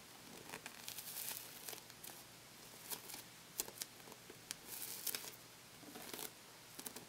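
Fingertips and short nails press, tap and scratch the pebbled synthetic rubber skin of a small, hollow, inflated purple toy football held in both hands, possibly pressing and pulling off for a sticky sound. Quiet, bright crackles and short tearing, crinkling bursts come in irregular clusters over a faint hiss, with almost no low end and no ring after each touch.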